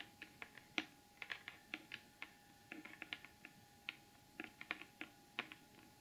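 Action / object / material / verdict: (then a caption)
tap / glitter-coated cardboard box / cardboard / none. Long almond acrylic nails tap and scratch across the lid of a large, closed, hollow rectangular cardboard gift box with a gold glitter finish and the Beauty Blvd logo. The result is an irregular run of quiet, sharp, bright clicks that die away almost instantly, with soft scratchy texture in between and a faint steady tone underneath.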